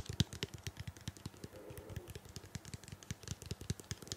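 A medium blue-purple plastic shampoo bottle, hollow and likely filled, is held in hand and tapped and scratched with long painted fingernails. A rapid, steady run of dull, low knocks with crisp bright clicks fills the clip, with a brief soft scratching sound around the middle. Each tap dies away almost instantly.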